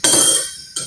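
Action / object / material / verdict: strike / drinking glass with water, metal spoon / glass / none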